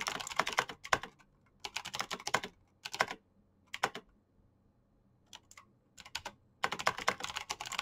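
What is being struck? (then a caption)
Plastic mechanical keyboard. Both hands type fast with their fingertips on a black plastic backlit mechanical keyboard with clicky switches. Crisp, bright, short clicks come in rapid bursts separated by brief pauses, with a few isolated keystrokes in the quieter middle stretch before a final dense run.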